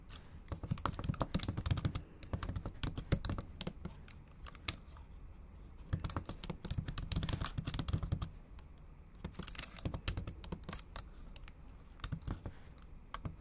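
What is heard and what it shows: Long acrylic nails type rapidly in Japanese on a MacBook Pro keyboard with backlit black plastic keys set in an aluminum body. Dense bursts of short, crisp clicks and dull low key thumps come in quick runs, easing briefly around five and nine seconds before picking up again.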